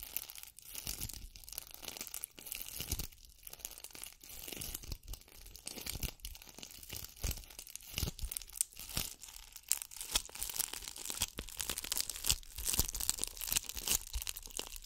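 Long dark acrylic nails scratch and rub a hand-sized ball densely covered in small gold and multicolored bugle beads, likely glass or plastic, glued over a solid core, held close to the mic. The result is a dense, bright, crinkly crackle of rapid tiny clicks and rasping scrapes that rise and fall in quick bursts, with very little ring after each scratch.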